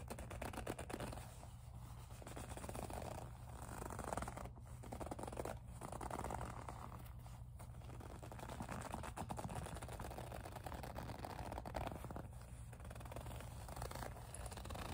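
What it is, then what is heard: Faux leather pouch being scratched. Long nails rub and scratch the surface of a small, hollow pink faux leather zip pouch. The result is a quiet, continuous scraping and scratching texture centered in the midrange, with soft swells and brief pauses over a steady low hum.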